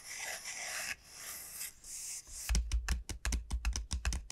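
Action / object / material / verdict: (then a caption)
tap / dried bottle gourd / dried gourd / none. Long nails scratch across the hard, hollow shell of a large, elongated dried bottle gourd, making bright, hissing scrapes in separate strokes. They then tap the surface in a quick, uneven run of about eleven short, hollow knocks, each with a deep low thump and very little ring.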